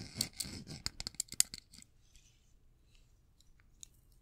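A small folding pocket knife with a metal blade and dark handle is held in both hands while fingertips and nails open the blade and scrape along it. About nine sharp, bright metallic clicks and scrapes come in quick, uneven succession over the first second and a half. The sound then fades to near silence with a few faint ticks.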